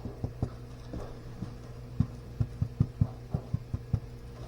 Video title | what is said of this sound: Simple Homemade Garlic Chive Artisan Bread, Off Grid and Off Road, In The Kitchen with Darcie | the best way to know when bread is done is actually to smack it on the bottom to see if it sounds Hollow